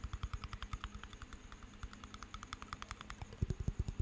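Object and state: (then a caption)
Small glass jar of water with metal lid. Fingernails tap the glass side and metal lid of a small glass jar of water as it is turned in the hands. The result is a rapid, steady run of short, dull knocks with faint bright clicks on top. The taps grow heavier and louder near the end.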